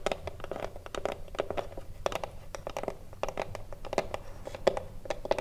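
Long blue nails tap and scratch a small, hollow, thin-wood Mini-Tip Filter cigar box standing upright. A quick, irregular series of short, dry clicks with a hollow tone around 550 Hz mixes with soft scratching, each tap dying away almost instantly.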